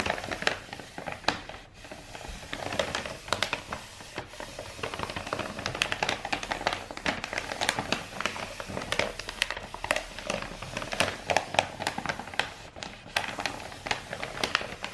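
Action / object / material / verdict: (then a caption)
tap / rolled kraft paper tube / kraft paper / none. A long roll of brown star-printed kraft wrapping paper, held upright as a hollow rolled tube, is rapidly tapped with long white nails. The result is a dense, steady stream of quick, dry, bright clicks with no ring, over a faint papery crackle.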